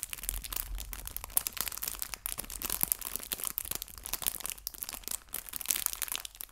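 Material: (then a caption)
Thin plastic. A small, clear, thin plastic bag full of fake fabric maple leaves is crinkled and pinched with fingertips and painted nails. The result is a continuous, quiet run of bright, dry crinkles and crackles with sharp little snaps and almost no ring.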